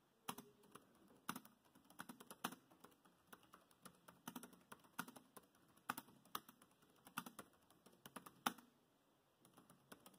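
Fingertips of both hands type continuously on a dark grey plastic laptop keyboard. Quick, irregular runs of short, crisp key clicks with a soft low thud and bright tops fall over a faint steady hiss. There is a brief pause near the end before quieter typing resumes.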